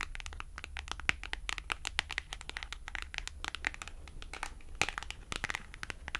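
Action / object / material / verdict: tap / thin cardstock price tag / cardstock / none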